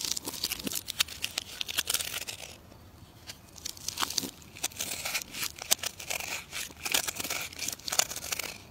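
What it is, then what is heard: Bar of soap being carved. A metal carving knife cuts into a solid, partly carved green bar of soap held in the hand, making a run of crisp, bright scraping and crackling cuts. The cuts pause briefly near the three-second mark, then resume with sharp, dry crunches until the end.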